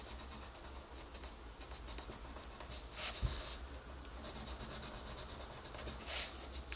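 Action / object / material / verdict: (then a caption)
scrape / wooden colored pencil on a paper coloring page / paper / none. A dark wooden colored pencil is rubbed across a flat paper coloring book page while coloring. It makes soft, steady scratchy strokes with bright, hissy bursts over a constant low hum, and one stroke around the middle sounds louder and sharper.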